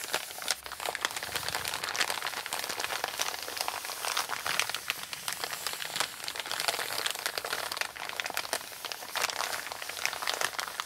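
Fingertips and long painted nails press, rub and scratch the crinkled surface of a large, flat, empty brown kraft paper Amazon mailer with a shipping label, lying on a table. The result is a continuous stream of dense, bright crinkling and crackling with short, sharp scratchy bursts and almost no low end.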